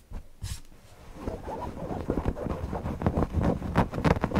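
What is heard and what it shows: Short nails and fingertips scratch the eyes, beak and body of a soft stuffed owl cushion made of printed cotton with stitched appliqué. The rapid, uneven scratching is low and muffled, with one brief bright hiss early on. It grows steadily louder and denser toward the end.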